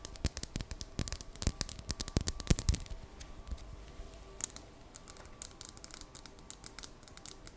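Long dark-painted nails tap and scratch a palm-sized, solid, smooth, dark greenish polished labradorite palm stone held close to the microphone. Sharp, dry clicks land in quick clusters over a faint steady hum, loudest in the first three seconds, then turn into softer, lighter scratching and scattered taps.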